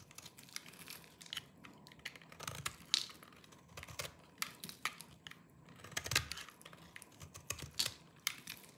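A small knife with a yellow-tan blade shaves and scrapes the surface of a hand-sized, dry green soap bar held in one hand, sending crumbly flakes falling off. The clip is a run of quick, dry, crunchy scrapes and crackles, mostly high and bright with very little low end. Many short, sharp bursts come irregularly over a soft background hiss.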